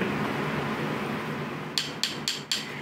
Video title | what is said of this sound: Don't buy THAI Recasts! Ft. Seraph Phoenix & ImHisEternalAngel | sounds like a rock yeah it literally sounds like ceramic